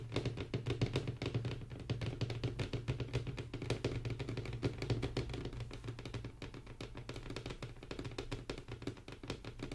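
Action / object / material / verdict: tap / wooden tabletop tapped with fingernails / wood / none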